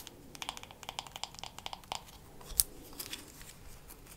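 Long matte nails tap quickly on the wooden back and solid handle of a wooden hairbrush with bristles. About 17 light, dry, clicky taps come in a rapid run, with one sharper, louder tap partway through. Softer, scratchier taps follow, and each tap dies away almost instantly.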